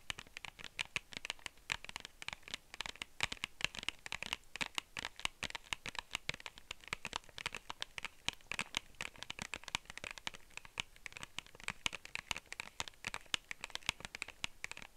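Long nails rapidly tap and scratch the surface of a small, hollow, clear plastic case held in one hand. The result is a dense run of sharp, bright clicks and scrapes that die away almost instantly, with little low-end body.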